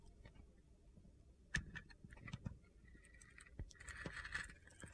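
A utility knife blade shaves the coated surface of a solid pink and black glitter soap bar held in the hand, exposing the white soap underneath. Quiet, gritty scrapes and crisp little clicks come in short bursts over a low, soft background rumble. A faint thin squeal around 1.8 kHz rises near the end.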